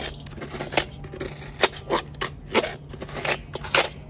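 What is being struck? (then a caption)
Fine cement and charcoal powder scraped with a steel blade. A steel knife blade held in the hand scrapes and cuts through a mound of fine grey cement and charcoal dust with small pebbles in a basin. Soft gritty scraping is broken by sharp, bright crunching strokes that stop almost at once.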